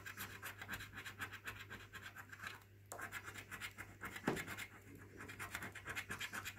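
A coin scratches the silver latex panels off a thin, flat, orange National Lottery scratchcard of printed card that lies on a wooden table, held down by fingertips. Rapid back-and-forth strokes make a steady, dry, bright rasping that pauses briefly in the middle. A low, constant hum runs underneath throughout.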